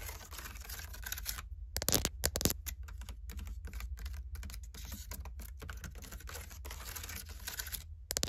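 Long painted acrylic nails tap and scratch the outside of a medium, open, hollow storage basket of woven seagrass or water hyacinth with thick braided plant-fiber walls, holding a knit beanie and fabric. Quick, dry, clicky taps blend with scratchy rustling that dies out almost at once, over a steady low hum. A few louder tap bursts stand out near the start and the end.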